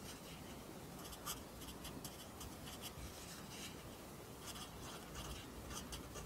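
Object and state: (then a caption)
Pencil writing on a paper notebook page. A wooden pencil held in the fingers scratches and rubs its graphite tip across the page of an open lined paper notebook on a desk, writing. Soft, continuous scratching fills the clip, with brief bright rasping bursts as the strokes move over the paper.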